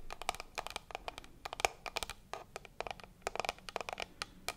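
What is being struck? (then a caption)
Small hard plastic case. A small, hand-sized, hard black plastic case, likely hollow, is held in both hands beside the microphone and tapped with long acrylic nails. About 26 quick, dry clicks come in an irregular run, bright with a hollow tone near 740 Hz and almost no ring.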